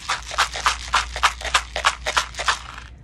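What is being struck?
Tube of small beads.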